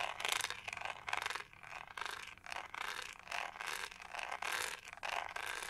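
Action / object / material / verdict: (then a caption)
scrape / plastic hair brush with a studded back / plastic / none. Long nails scratch across the pink studded back of a hollow plastic hair brush. Bright, raspy scraping comes in repeated overlapping strokes that swell and fade. The strokes run continuously with no clear pauses between them.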